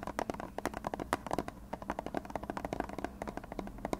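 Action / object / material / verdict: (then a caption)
tap / plastic glue bottle / plastic / none. A hand-sized, hollow white plastic glue bottle with a blue nozzle is scratched and tapped with fingertips and nails. The result is a quick, irregular run of short, dry, hollow clicks and taps centered in the mid range around 700 Hz, with faint scratching between them. Each tap dies away almost at once.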